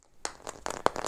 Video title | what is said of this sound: Investigations | if you just listen when I shake the red egg there's like a soft click